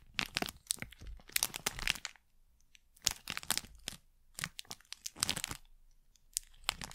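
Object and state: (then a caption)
Plastic wrapper packet. A thin printed plastic packet is crinkled and pressed flat with fingers and nails right at the mic. Bursts of sharp, bright crackling and crunching come in clusters separated by short quiet pauses, with almost no low end.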